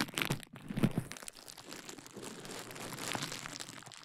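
A large sheet of clear plastic bubble wrap draped over a KU100 dummy head microphone is scratched, squeezed and popped with fingertips and long nails, then crumpled. Sharp pops and crackles come in the first second, then give way to a quieter, steady crinkling rustle with bright crisp edges.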